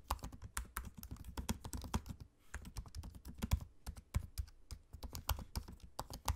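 Fingertips type on a MacBook-style laptop keyboard with low-profile plastic keycaps set in a space-grey aluminium body. A steady run of soft, quick taps with dull low thumps and short bright clicks pauses briefly in the middle, then resumes. Each tap dies away almost instantly.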